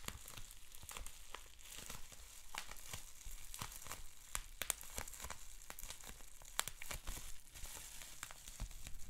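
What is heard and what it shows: A sheet of clear plastic bubble wrap with small bubbles, rolled and then bundled, is twisted, scratched and popped by fingertips. Dense crinkling and rustling run throughout, broken by frequent sharp, bright pops and clicks that stop almost instantly.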